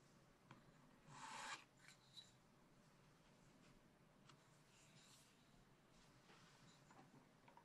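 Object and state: Scratch-art card being scratched.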